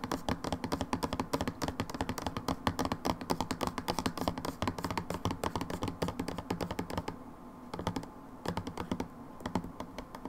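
Long nails tap rapidly on the side of a plastic hand wash bottle with a red pump, held lying sideways in a hand. The result is a dense run of short, dry, hollow clicks with a low thunky body. The tapping briefly thins out near the end before picking up again.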